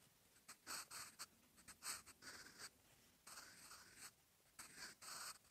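A sharpened wooden graphite pencil, held in the fingertips, writes on a lined paper notebook page lying as a solid flat sheet. The graphite tip scratches across the paper in bursts of handwriting strokes, heard as a soft, bright, hissy scratching with short pauses between strokes.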